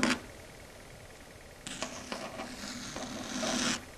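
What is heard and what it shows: Long red stiletto nails rub and scratch a flat, solid dark grey chalkboard. A short bright scrape opens the clip, followed by a quiet pause. A longer stretch of scratching then starts, dotted with sharp ticks and building into a bright, steady squeal before stopping near the end.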